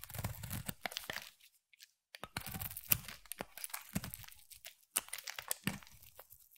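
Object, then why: Glycerin soap bar. A utility knife blade cuts into a hand-sized, solid rectangular translucent amber striped glycerin soap bar, shaving curls off its corner. Dense bursts of crisp, crunchy tearing and scraping mix a low thud with bright, high crackle, pausing briefly near the two-second mark before the shaving resumes in short, sharp strokes.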